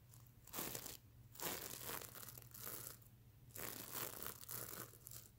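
Fingernails scratch across a soft, stuffed mermaid unicorn plush pillow covered in reversible plastic sequins, flipping them from colored to silver. Bright, crinkly scratching swells in repeated strokes and fades between them, over a faint, steady low hum.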